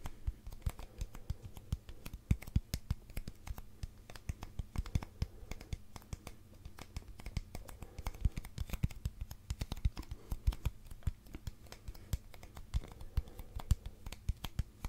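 A long, hollow, empty brown cardboard tube held vertically is tapped and scratched with fingertips and nails. Rapid, dense, dull taps with a low, hollow resonance mix with soft scratching, and each hit dies away almost instantly.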